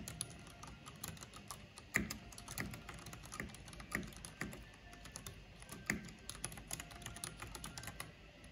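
Long painted fingernails and fingertips rapidly tap the keys of a full-size black plastic mechanical computer keyboard with a purple backlight and a hollow housing. The result is a steady stream of short, bright clicks and clacks with a hollow low thock beneath, with a few louder strikes standing out around 2, 4 and 6 seconds.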